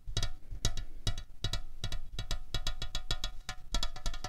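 Long fingernails tap a slim, hollow aluminium Coca-Cola Cherry can resting on a tablecloth in a quick, uneven run of taps, some in close pairs. Each tap is a sharp, clicky tick with a brief, bright metallic ring over a dull low thump, dying away almost at once.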